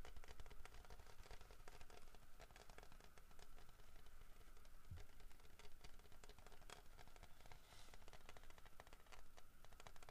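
Fingertips tap rapidly across the head and body of a large, solid carved wooden bear figurine with a fish in its mouth. The result is a quiet, steady stream of soft, dull, short clicks with almost no ring, sitting over a low rumble and a faint steady tone.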